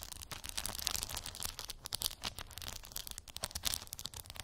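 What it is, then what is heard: Plastic beads on a cork board. Long acrylic nails tap and scratch across small, colorful plastic gummy bear beads covering a round cork board. The result is a quiet, dense stream of quick, bright clicks and crisp scraping that fills the high frequencies, with a faint low rumble underneath.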